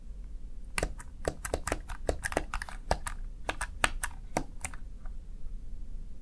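Fingertips tap and press the keys of a small black plastic backlit Razer Tartarus Chroma gaming keypad, making a quick, irregular run of short, crisp plastic clicks. Each click is sharp and bright with almost no ring, over a steady low background hum.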